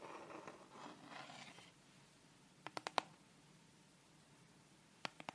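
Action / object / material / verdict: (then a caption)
tap / wooden set square / wood / none. Long red nails softly scratch along the edge and face of a thin, solid wooden triangular set square held upright, making a gentle, quiet rasp. This gives way to a quick run of four sharp, bright taps on the wood, then silence, and a few more crisp taps at the end.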